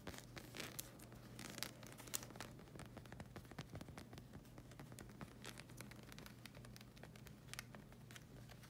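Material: Rubber.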